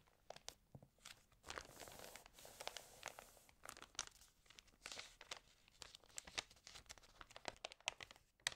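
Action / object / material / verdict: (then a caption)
scrape / glossy paper magazine pages / paper / none. Fingertips with long nails rub, crinkle and turn the pages of an open, water-damaged glossy-paper magazine. Quiet, bright crackles and rustles come in irregular bursts with brief sharp snaps and almost no low end. The sound is a dry, crisp paper crinkling.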